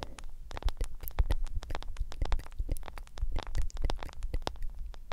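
A hand-sized smartphone with a black glass screen in a yellow silicone case is tapped quickly on the screen and case with long acrylic nails. The result is a rapid, dense patter of short, dry clicks over a soft low thump, each tap dying away almost instantly.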